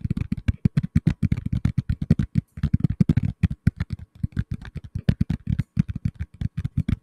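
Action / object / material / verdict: tap / tablet in a plastic case / plastic / none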